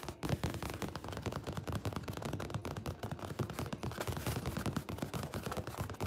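Fingertips and nails scratch and rub over a painted stretched canvas held close by. The result is a dense, continuous run of rapid, rough scraping bursts with a heavy low-end thump around 109 Hz. The bursts are short and dry, with little ring.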